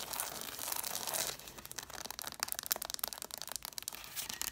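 Long nails scratch and tap along the paper page edges of a stack of red hardcover books, seen from the fore-edge. A steady, hissy scratching runs for about the first second, then gives way to a quick series of dry, crisp taps mixed with short scrapes. The sound is bright and high-pitched with almost no low end and no ring after each tap.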